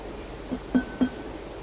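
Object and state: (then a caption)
Clay cooking pot that rings clear (intact). The clay (earthenware) inner pot of an Emily slow cooker is tapped during unboxing. A faint knock is followed by two clear taps that give a short, bright ring pitched around 250 Hz. The pot rings clearly, which indicates it is sound.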